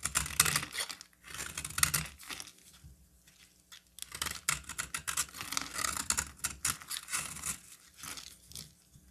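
A metal utility knife blade shaves and scrapes a solid, hand-sized green bar of soap, with flakes piling on the table. Dry, crisp scraping strokes come in quick bright bursts with a papery, crinkly texture. Brief pauses fall between the runs of cutting.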